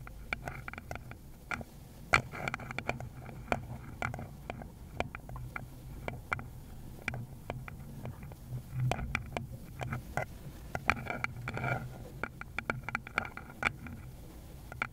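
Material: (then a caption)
Wood. A small, rounded wooden bowl with visible grain, held in a gloved hand, is tapped with long, pointed, decorated nails. The result is a steady stream of quick, dry, irregular clicks and taps that die away almost instantly, with a woody resonance around 1.3 kHz, a low thump underneath, and a bright edge on each tap.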